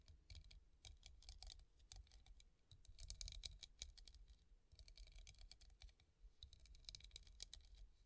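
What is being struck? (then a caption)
Hobnail glass vase. A clear glass hobnail vase, hollow and empty and resting on a table, is tapped rapidly with long painted nails. The result is a dense run of quick, sharp clicks with bright high edges and no ring, over a soft low rumble. The tapping comes in bursts with brief pauses between them.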